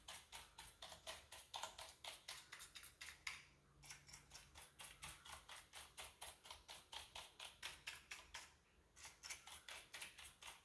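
Fingertips rub and press across the keycaps of a full-size black plastic computer keyboard with a hollow body. The result is a quiet, steady run of bright, brushy strokes, about 44 in all at roughly two per second, with short pauses near 3.5 and 8.7 seconds.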